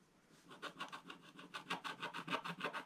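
A wooden stylus rubs and files the black coating off the upper area of a scratch-art paper page in a spiral book, using long strokes. After a near-silent start, about fifteen dry, raspy scratching strokes follow in a steady rhythm. They grow slightly louder and have a bright, papery hiss.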